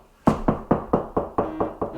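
Eight knocks on a drywall wall beside an electrical box mounted on a wood stud. Each is a short, dull thud that dies away quickly. The knocks sound solid here, meaning a stud sits behind this stretch of wall.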